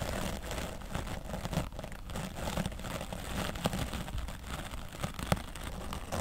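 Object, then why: Foam microphone windscreen. A wooden bristle brush is dragged over the left side of a grey foam microphone windscreen while a hand holds the foam. The result is a steady, dense scratching and rustling with a muffled, low-heavy rumble, broken by a few sharper crackles and scuffs.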